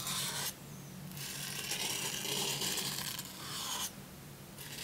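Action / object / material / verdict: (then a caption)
scrape / glossy paper book page / paper / none. A hand brushes the plastic bristles of a toothbrush across the glossy printed paper page of an open hardcover children's book about dogs, lying flat on a pink blanket. Bright, dry scratchy rasping comes in bursts of rubbing separated by quieter gaps, over a faint steady low hum.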